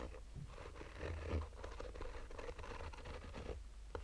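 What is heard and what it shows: A black mesh-fabric hard-shell sunglasses case rests on a table while the nails of both hands slowly scratch its top. A continuous, soft, dry scratching comes with faint papery crackles and a steady low hum underneath.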